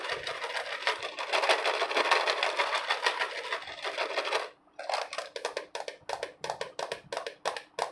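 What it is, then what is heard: Plastic jar of almonds. A hand-sized, hollow clear plastic jar with a red screw lid, partly filled with almonds, is held in both hands and worked with fingertips and nails. For the first four and a half seconds there is a dense, continuous bright scratching and rattling. After a brief near-silence, a series of separate, crisp taps follows.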